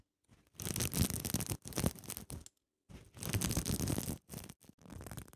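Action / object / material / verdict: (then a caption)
scrape / sequin-covered fabric pouch / plastic sequins / none. Long nails scratch and rub the flip-sequin surface of a zippered cosmetic pouch held in the hands. Bursts of dense, crackly rustling and scraping fill the clip, with a low rumble underneath and a bright hiss on top. A brief silence falls midway before the scratching resumes in uneven strokes.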